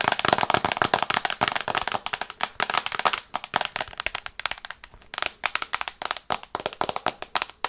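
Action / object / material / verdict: tap / glass tablet screen in plastic case / glass / none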